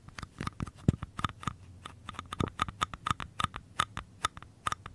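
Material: Paper.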